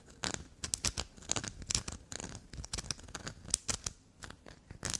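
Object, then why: Bar of black soap. Long black nails scratch and scrape a solid black soap block with a grey scraped face. The sound is a quick run of dry, crackly scratches, bright and high with little low end, each stroke short and close.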